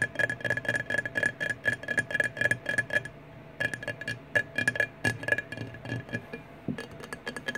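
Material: Glass.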